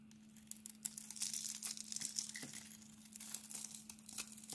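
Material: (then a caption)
Soap. A steel utility blade scrapes the pink glitter coating off a solid, hand-sized oval bar of cream soap held in the palm and shaves off flakes. The result is a dense, irregular run of bright, crisp scratching and crinkly shaving sounds over a faint steady low hum.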